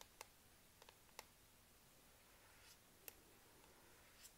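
Long manicured nails and fingertips tap repeatedly on the black plastic palm rest beside the touchpad of a Lenovo IdeaPad laptop, a hollow plastic casing. Quiet, sharp, bright clicks land at irregular intervals and die away almost instantly over a soft background hiss.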